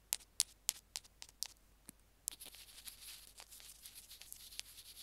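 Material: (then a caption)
Plastic. Two wooden sticks tap and scratch a small white plastic earphone mic/remote on its cable as it rests on a jade stone. Sharp, bright clicks come in a quick, uneven run, then give way to a steady high scratching hiss with occasional taps. Each click is dry and stops almost instantly.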